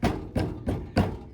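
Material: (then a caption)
Plastic. Four taps on the plastic undercarriage cover of a 2020-or-newer Ford Edge, set back in place without its nuts, each giving a short, low, hollow knock with a brief rattle. The cover is still loose and rattles.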